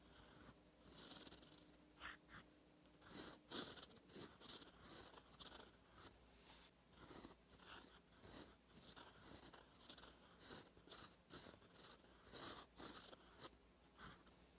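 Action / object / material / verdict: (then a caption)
scrape / metal fountain pen nib on a paper notebook page / paper / none. A gold metal fountain pen nib, held by the fingertips, scratches across a thin cream lined notebook page while writing cursive. Bright, dry scratching strokes come in short bursts with brief pauses between them. The scratches are quiet and have almost no low end.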